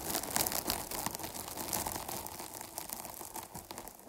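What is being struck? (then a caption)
Foam microphone windscreen. Long nails scratch the sides of a dark foam microphone windscreen, producing a continuous soft, crinkly rustle with bright hiss. Quick irregular scrapes blend into a steady texture that tapers off gently toward the end.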